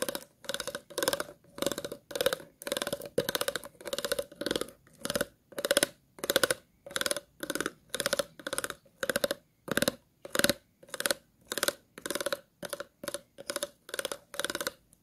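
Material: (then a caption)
Plastic. The tip of a pair of scissors scratches the grooved body near the base of an empty, hollow, clear plastic water bottle. Short raspy scratching strokes repeat in a steady rhythm, each with a hollow tone around 500 Hz and a bright, crackly edge. The strokes are separated by brief silences.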